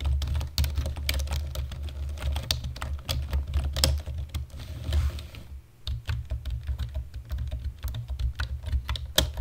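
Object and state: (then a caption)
Plastic computer keyboard. Both hands tap the keys of a black plastic computer keyboard with their fingertips in a steady run of typing. Each press makes a short, bright click that dies away almost at once, over a constant low hum.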